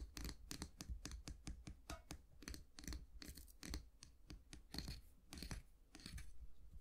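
Fingernails scratch the handle of a solid wooden long-handled brush with natural bristles and flick its bristles. The result is a quick, uneven run of short, dry scratches and crisp, bright bristle flicks over a faint low rumble, each one dying away almost at once.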